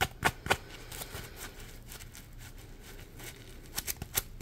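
A yellow smiley-face Scrub Daddy sponge, a hand-sized polymer foam piece, is gripped in both hands and scratched and rubbed with the fingers. Sharp, bright scratching bursts stand out at the start and again near the end, with a low, steady rustling of rubbing between them.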